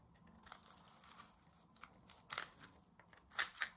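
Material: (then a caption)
Soap. A small metal blade shaves a round, hand-held disc of coiled dry soap strips into curls. It makes a series of quiet, crinkly, crunching scrapes that are bright and dry with almost no low end. The louder bursts come toward the end.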